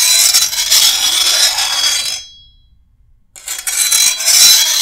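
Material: Steel.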